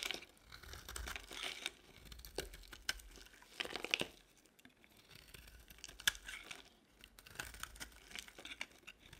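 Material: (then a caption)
Soap. A utility-knife blade carves and scrapes a solid yellow oval bar of dry soap held in the hand, peeling off crumbly shavings. Quiet, bright scraping and crackly, tearing crunches come in short bursts with brief pauses between strokes.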